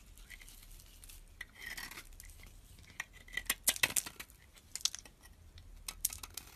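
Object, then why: Bar of soap shaved with a metal blade. A mostly carved solid white bar of soap, held in the fingers, is shaved with a utility knife blade. The metal blade gives soft scraping and a scatter of crisp, high clicks and ticks with almost no ring and little low end. A brief rough shaving stretch runs through it.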